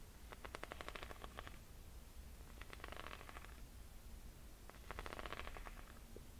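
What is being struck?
Ridged rubber sole of a leather strap sandal.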